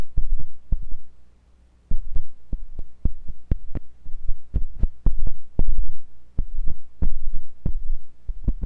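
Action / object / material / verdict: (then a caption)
scrape / silicone ear of a binaural microphone, scraped with a metal pick / silicone / none. A thin, pointed metal sculpting tool with a wooden handle, held by fingers with long pink nails, scratches and pokes inside the ear canal of a white silicone ear on a block-shaped binaural microphone. The result is a rapid series of short, deep, muffled thumps over a steady low hum, with a brief quiet gap near the start.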